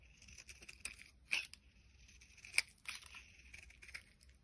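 A box cutter blade shaves strands off a solid orange translucent bar of soap held in the palm. The sound is a series of quiet, dry, high-pitched scraping and crackling cuts at an irregular pace, with two sharper, louder snaps standing out. Each cut stops almost instantly, with no ring and almost no low end.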